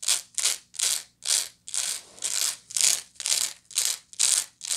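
Long nails scratch the woven sides and base of a medium, hollow woven straw bag in a steady series of short, separate strokes. Each stroke is a bright, dry, hissing rasp with almost no low end, fading quickly between strokes.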